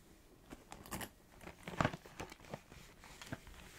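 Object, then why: Small cardboard snack box. Long acrylic nails trace and scratch over the printed surface of a small, narrow, hollow Organix cardboard snack box with its top opened. Soft, dry scratches and light crinkly taps are scattered across the clip, with the loudest, crunchier scrape about midway.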